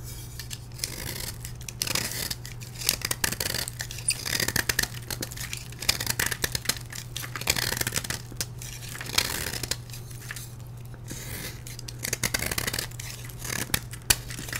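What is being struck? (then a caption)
Block of gym chalk cut with a metal blade. A solid blue-dyed gym chalk block, held in the hand, is carved with a metal blade, giving a steady run of dry, bright scraping and crumbly scratching strokes. A constant low hum runs underneath the whole clip.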